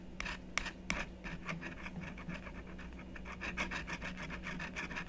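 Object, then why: Coated scratch-art card scratched with a wooden stylus. A thin wooden stylus scratches the coating off a flat, book-sized, black-coated scratch-art card held flat on a wooden table with one hand. Quick, uneven short strokes, about three per second, make dry, bright, raspy scratches over a faint steady low hum.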